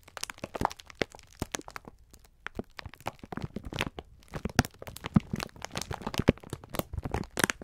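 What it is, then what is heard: Plastic-wrapped sponge scourer pack crinkling. Fingertips squeeze and rub a clear plastic-film pack of sponge scourers held in both hands. Dense, sharp crackles and crinkles snap across a broad range, with some louder pops standing out from softer rustling. Each crackle ends almost instantly, with no ring after it.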